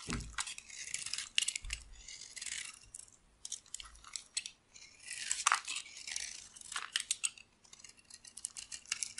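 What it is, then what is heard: Dry soap bar being carved. A dry, solid oval cream bar soap held in the palm is scraped and cut with a metal blade, shaving off flakes. Bursts of bright, crisp scratching rasp through the clip with brief pauses between strokes. The dry crackle has almost no low end.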